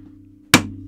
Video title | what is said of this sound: New American Knife Model Has Insanely Low Price Is It Worth It - Microtech MSI | it sounds solid it sounds very solid it feels very solid